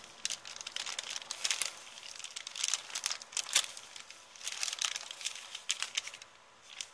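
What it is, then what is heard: Paper bag being crinkled and scratched. An empty, thin kraft paper shopping bag with blue print is held up by both hands and crinkled and scratched with long painted nails. Dense, bright crinkling and scratchy crackles come in uneven bursts that rise and fall, with almost no low end.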